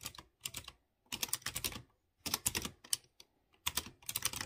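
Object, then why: Mechanical keyboard with round metal keycaps. Fingertips type on a light blue plastic mechanical keyboard with round chrome keycaps on clear-housed blue switches. Quick, bright, clicky key taps come in short bursts separated by brief pauses, each tap sharp and dry with almost no ring and little low end.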